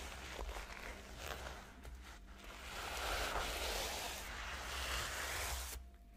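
Long nails and fingertips scratch and brush back and forth across the reversible pink and blue plastic sequins covering a flat rectangular notebook lying on a pink tablecloth. A continuous, bright, scratchy rustle swells louder through the middle over a steady low hum. It then drops away abruptly near the end.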